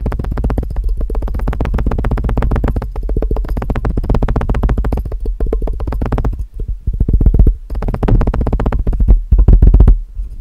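Fingertips and nails tap quickly on the side walls of a clear, empty plastic measuring jug with red scale markings that is placed over a microphone. The rapid, dense taps produce deep, boomy thuds with a low hum and almost no bright content. The tapping grows louder and more uneven toward the end.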